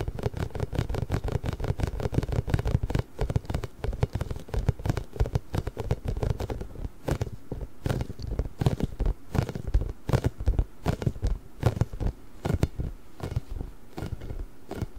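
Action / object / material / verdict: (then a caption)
tap / inflated rubber massage ball with spikes / rubber / none. A large pink, inflated, hollow rubber massage ball covered in small spikes is rubbed and tapped with fingertips and nails. The result is a dense run of soft, quick taps and scratchy patter with a deep, hollow low thump under them. Brief bright clicks come through on top, and each tap dies out almost at once.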